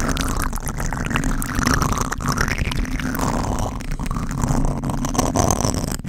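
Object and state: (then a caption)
Foam microphone windscreen being scratched. Fingertips scratch and rub a black foam windscreen on a microphone, producing a steady, dense scratching and rustling dominated by deep, muffled rumble. The texture stays continuous throughout with little brightness, and it ends abruptly.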